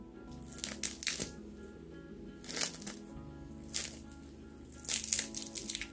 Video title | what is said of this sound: Больше НЕ ТРАЧУ на Круассаны целый день! Так ЛЕГКО и Бюджетно мы их не готовили - Еда на любой вкус | ne kadar çıtır çıtır çıtırdığını dinleyin